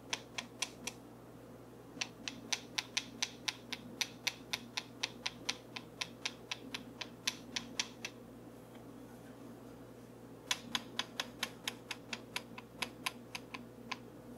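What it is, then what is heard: Wooden comb, tapped. A small, solid, light wooden comb is held in the fingers while a dark wooden tool is scratched and tapped along its teeth. Dozens of short, dry, bright clicks come in quick runs of about four per second, broken by a few pauses. A steady low hum sits underneath.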